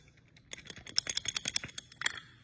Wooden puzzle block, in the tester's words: something is going on in some of these pieces of wood